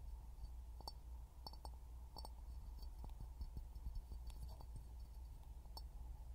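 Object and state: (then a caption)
Empty glass jar. An empty, hollow clear glass jar is held upside down over a pin microphone in both hands and tapped with fingertips and short nails. The result is quiet, irregular, short clinks and clicks with bright glassy ticks that die away almost instantly, over a steady low rumble.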